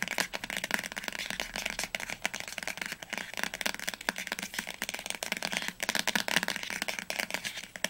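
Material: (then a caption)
Paper. Long nails tap quickly along the top edge and cover of a teal paperback book lying flat. The result is a rapid, continuous stream of short, crisp clicks that are bright and papery, with almost no low end and each tap dying away instantly.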